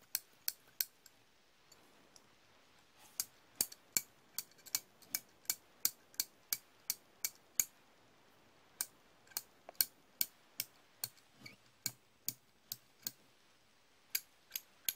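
Hand-held chrome steel slip-joint pliers with a black pivot bolt are opened and closed by the fingers, and nearby wrenches on the table stay untouched. Sharp, bright metallic clicks and snips come in an uneven rhythm, about 29 short hits, with almost no ring or low end and quiet pauses between bursts.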